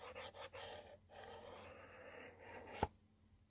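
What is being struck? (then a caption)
Cardboard box. A long nail scratches across a yellow cardboard product box, making dry, rasping strokes that flutter at first and then settle into a steady scrape. The scrape ends with a sharp click, and the sound then drops away to near silence.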